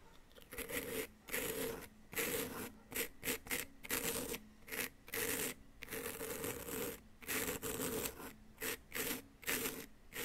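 A small wooden chisel held in the fingertips scrapes a solid, hand-sized, yellow-green plaster "gold bar" dig-kit block with loose plaster powder around it. Repeated short, rasping scrape strokes come in quick bursts with brief pauses between them. Each stroke carries a bright, gritty hiss over a faint low hum near 250 to 500 Hz.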